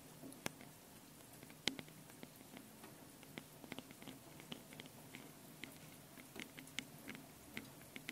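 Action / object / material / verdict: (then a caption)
tap / metal mesh microphone capsules on a handheld recorder / metal mesh / none. Long painted nails tap and scratch both metal mesh microphone capsules on top of a small handheld Tascam recorder. Quiet, sharp, bright clicks and short scratchy rustles come irregularly over a steady low hum. Each click dies away almost instantly.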